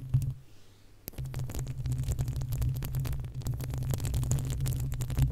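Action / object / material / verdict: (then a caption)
scrape / metal mesh microphone grille / metal mesh / none. Long acrylic nails on both hands scratch the uncovered, hollow metal mesh grille of a desktop condenser microphone. After a brief quieter lull near the start, a dense stream of rapid, irregular scratches and clicks follows, over a heavy, booming low-end rumble.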